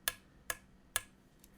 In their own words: if I flick the blade, it's a very dull sound. So that just means that the blade isn't super tightly secured or tightly fitted to the hilt.